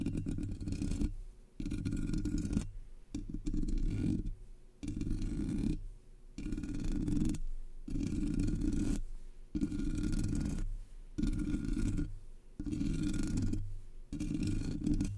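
A single long fingernail taps and scratches the black hollow metal mesh grille of a Blue Yeti microphone, then both hands scratch the top. It comes through as low, rumbling scrapes in bursts of a second or two, separated by brief quiet gaps, with most of the energy in the deep bass and little brightness.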